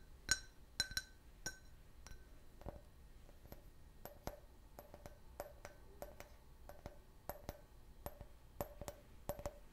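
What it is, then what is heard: Can-shaped beer glass tapped. A clear, hollow, empty can-shaped glass beer glass is turned in the hand and tapped with fingernails, giving about 15 quiet, irregular clinks. The first few taps ring bright with a tone near 1.5 kHz, and later ones sound duller and more clicky, each fading almost at once.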